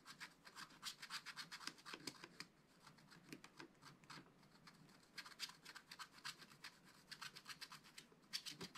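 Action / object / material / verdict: scrape / wax-coated scratch-art card scratched with a wooden stylus / coated card / none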